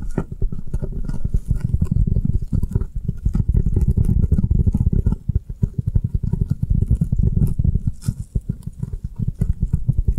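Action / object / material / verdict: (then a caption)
tap / foam kitchen sponge / foam / none. Long nails rapidly tap and scratch the side and faces of a round, avocado-shaped foam kitchen sponge held sideways in the hands. The result is a dense, continuous patter of soft, muffled low thuds with almost no ring, and faint bright scratchy ticks over the top.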